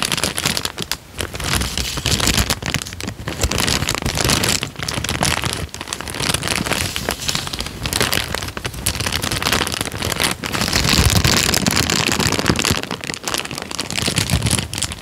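A folded tan paper sheet is bent and crinkled with both hands, giving a steady, dense crackling and rustling. The texture is bright and broadband with soft low thumps, and it swells slightly louder in the second half.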